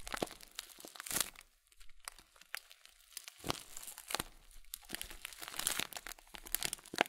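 A full blue Kölln oat flakes plastic bag with a folded top is squeezed and crinkled with fingertips and thumbs. Dry, bright crinkles and crunchy crackles come in quick irregular bursts, separated by short quiet gaps.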